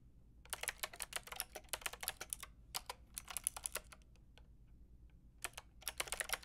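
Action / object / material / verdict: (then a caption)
tap / plastic mechanical keyboard with round keycaps / plastic / none. Long painted nails and fingertips type on a white-pink backlit plastic mechanical keyboard with round plastic keycaps. Quick, bright, clicky key taps come in three bursts with short pauses between them. Each tap is sharp and dies away almost at once.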